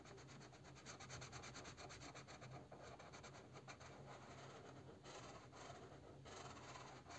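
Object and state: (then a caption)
Crayon rubbing on a cardboard box. A purple crayon rubs back and forth in coloring strokes over a bear figure printed on a hollow cardboard box, which is held still. A quiet, steady, scratchy rubbing continues throughout, with rhythmic strokes and brighter, harsher passes near the end over a faint low hum.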